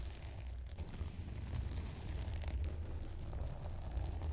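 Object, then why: Plastic bubble wrap strip. A long, narrow strip of clear plastic bubble wrap with air-filled bubbles is held in both hands above a foam microphone while fingertips press and rub the bubbles, squeezing and crinkling the wrap. The sound is a steady, close low rumble of handling noise with soft crinkles and occasional brief, bright ticks scattered throughout.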